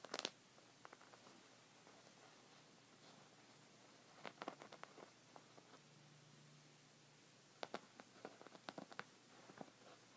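Fingertips with red nails scratch the woven surface of a folded white textured fabric rug resting on a wooden table. Quiet bursts of short, dry, bright scratches come in clusters near the start, middle and end, over a faint steady low hum and near-silence. Each scratch stops almost instantly with no ring.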